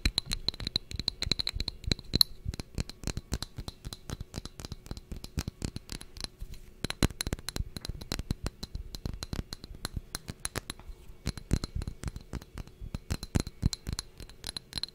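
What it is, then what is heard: Textured glass jar. A small, clear, textured glass jar, hollow and empty, is held close to the microphone and tapped and scratched with long nails. Rapid, dry clicking taps and scratchy scrapes follow one another with almost no ring, under a faint, steady high tone.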